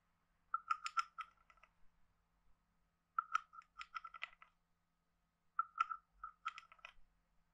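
A hand-sized, hollow, carved wooden frog guiro with a ridged back is scraped and tapped with a wooden stick. Three quiet bursts of quick, dry, woody clicks ring at a hollow mid pitch around 1.3 kHz, with bright ticks on top. Each click dies almost at once.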